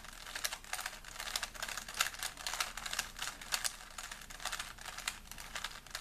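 A small solid plastic 3x3 Rubik's cube is held in both hands while fingertips rapidly twist its layers. The result is a fast, steady stream of short, bright plastic clicks and rubbing with almost no low end.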